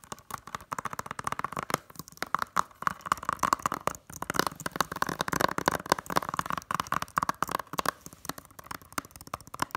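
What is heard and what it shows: Long nails tap rapidly on the front cover of a closed, hollow blue plastic Blu-ray case. The result is a dense, continuous stream of quick, dry clicks with almost no ring, carrying a faint tonal ping around 1 kHz.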